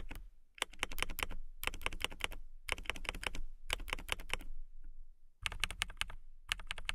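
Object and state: Transparent acrylic mechanical keyboard.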